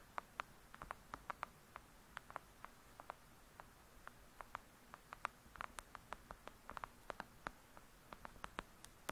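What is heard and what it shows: Long acrylic nail tips tap rapidly on the cover of a thick, solid "Lady Midnight" paperback book lying flat. About 38 short, crisp clicks centered around 1.2 kHz with brief bright edges cut through quiet low hiss. Each tap dies away almost instantly.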